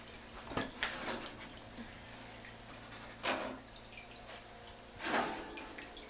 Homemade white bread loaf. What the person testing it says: it has that good hollow sound